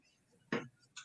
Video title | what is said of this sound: Fanfiction Friday is back! | have a very dull Hollow kind of thud to it when you tap on it